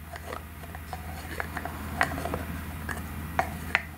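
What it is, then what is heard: Plastic egg-shaped cosmetic container, hollow. Long nails open, close and tap the shell of a hollow gold-colored plastic egg-shaped cosmetic container. The result is a sparse, irregular run of short, bright plastic clicks and taps, with the sharpest ones ringing around 2 kHz, over a steady low hum.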